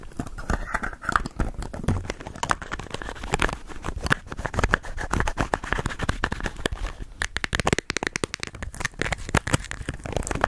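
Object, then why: Hand-sized plastic bottle. A hand-sized, hollow white plastic bottle with an orange label is tapped and scratched with long nails. Rapid, dense streams of dry clicks and taps mix with crinkly scratching, and every hit dies away almost at once. The clicks form an uneven, continuous rhythm throughout.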